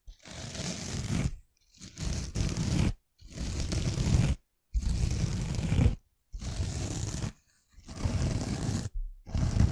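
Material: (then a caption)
Foam, abrasive. Long painted nails slowly scratch across the green abrasive scouring side of a hand-sized, rectangular pink foam kitchen sponge, soft and porous, held in front of the mic. Seven long, rough, raspy scrapes with a heavy low rumble and bright hiss are separated by short silent pauses, the last stroke cut off at the end.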